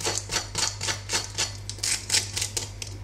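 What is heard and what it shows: Freshly baked banichki (cheese pastries), well browned and still very warm from the oven, are tapped. This gives a series of dry, crisp, high-pitched crackling taps about 12 times in quick, uneven succession, showing how crispy the crust is. A steady low hum runs underneath.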